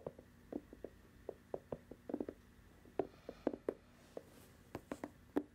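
Long acrylic nails tap and scratch the white rubber sole of a hollow, empty sneaker held up near the microphone. Nineteen soft, dull, short taps land at an irregular, unhurried pace, each with a low-mid knock and almost no ring. Faint scratching fills the quiet gaps between them.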